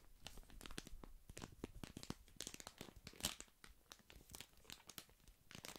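A small, flat, printed paper tea sachet is held in one hand near the microphone and crinkled and rubbed between the fingers. It makes a quiet, steady stream of dry, papery crinkles and crackles with short bright snaps, the sharpest near the middle. There is a faint low rumble beneath.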